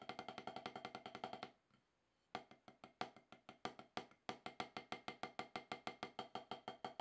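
Two wooden drumsticks tap on a solid, octagonal HQ snare practice pad with a dark rubber surface, producing dry, short, bright clicks with a woody tone. A quick, even run of taps stops at about 1.5 seconds, resumes after a brief pause with scattered strokes, and then settles back into a steady, rapid stream of 45 hits in total.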